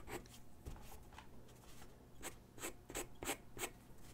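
A graphite pencil sketches and shades on a single white sheet of drawing paper resting on a wooden desk. Quiet, dry scratching and rubbing strokes come in quick, uneven bursts, each with a bright papery rasp and a soft low hum underneath.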